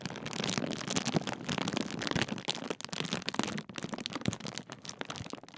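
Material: Metallised plastic.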